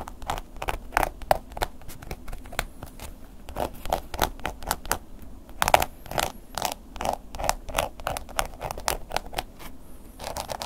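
A wooden ear pick scratches repeatedly across a black woven-embossed leather long wallet lying flat while the other hand holds it steady. The result is dense, short, dry scratching strokes with a mid-range rasp around 700 Hz and bright streaks above. Each stroke dies out almost at once.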